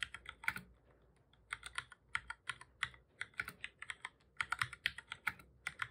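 Fingertips of both hands type on the keys of a black full-size plastic computer keyboard, making quick, bright, dry clicks with almost no ring. The key presses come in rapid bursts with a short pause near the start.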